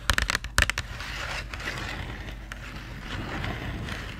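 Long nails tap and scratch the printed surface of a small, hollow Crayola cardboard marker box with markers inside. About seven quick, dry taps sound in the first second, then give way to a steady, papery scraping with a bright crackly edge that lasts to the end.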